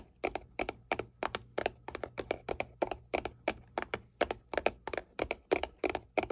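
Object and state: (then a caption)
Cardboard box. Long painted nails tap and scratch the flat side of a small, hollow white paperboard box held upright. The result is a quick, somewhat irregular run of dry, crisp clicks, many in close pairs, with a hollow mid-range body around 590 Hz, bright edges and almost no ring.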